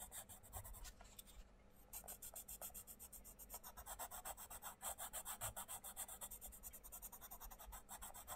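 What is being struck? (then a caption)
Colouring pencil on a paper book page. A wooden colouring pencil tip scratches and rubs across a thin printed paper page of an open paperback colouring book lying flat on a wooden table, one hand holding the page down while the other colours in small shapes. Quick, fairly irregular back-and-forth strokes, roughly three to four per second, make a bright, papery rasp. There is a brief lull near the second second, then the strokes continue steadily.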